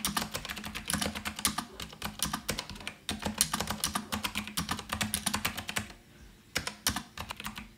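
Fingertips type continuously on an Azio Retro Classic rose-gold mechanical keyboard with round plastic keycaps, producing a rapid stream of sharp, bright, clicky keystrokes with a faint low hum beneath. The typing pauses briefly near the six-second mark, then resumes with a few more clicks.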